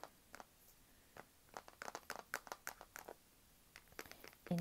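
Long nails tap fast on the matte black plastic back of a small, thin, solid Kindle e-reader held in both hands. The result is a quiet, scattered run of short, dry clicks in uneven bursts, getting louder toward the end.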